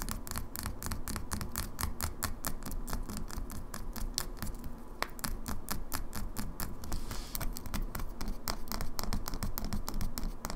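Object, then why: Small glass cosmetic bottle with pump cap. Long fingernails tap quickly on a small glass cosmetic foundation bottle held in the hand. The bottle has a plastic pump cap, is partly full of liquid, and is tapped on both the glass and its labelled base. The result is a steady stream of sharp, bright, dry clicks that stop almost instantly, over a soft low rumble.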